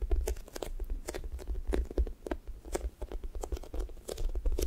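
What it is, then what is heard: Sticky foam squishy toy. Fingertips and nails press into and peel off the pink sticky top of a thick strawberry toast squishy toy made of soft, solid foam. Quick, close-up sticky crackles and tearing peels repeat in an uneven stream, each with a soft low thump underneath. The bursts are brief and dry, with almost no ring.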